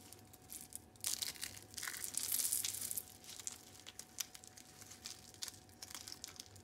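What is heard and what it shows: Fingertips squeeze and crush hollow rolled curls of dry, brittle purple and white soap on a yellow surface, breaking them into crunchy flakes. A dense, bright crackling and crunching swells to its loudest from about one to three seconds, then thins into scattered crisp snaps and crinkles.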